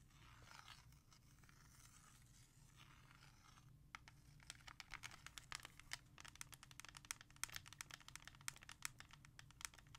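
A hollow plastic CD jewel case held in the hand is traced with long nails along the letters on its front, giving a soft, continuous scratchy rasp for the first few seconds. The nails then switch to fast, uneven tapping, producing a run of sharp, bright plastic clicks over a faint low hum.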